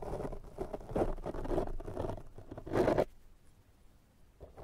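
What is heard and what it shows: A pink silicone pastry brush brushes and scratches across a soft, porous black foam windscreen over a microphone. It makes a dense, muffled, low scratchy rustle with uneven swells that peaks just before 3 seconds. Then it drops to near silence, with a faint scratch returning at the end.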